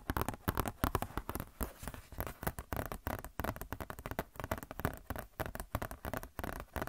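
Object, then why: Glossy paper catalog booklet. Long nails tap and scratch a glossy paper Blizzard Shop catalog booklet close to the mic. A rapid, irregular run of short, dry taps mixes with crinkly scratching that carries a soft, low thump. Each sound dies away almost at once.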